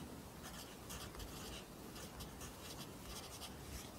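A wooden pencil held in the fingers writes and rubs across the page of an open lined paper notebook on a desk, its graphite tip scratching and rubbing the paper. The result is a quiet, continuous scratchy rustle with bright, papery strokes that come in short bursts over a soft low rumble.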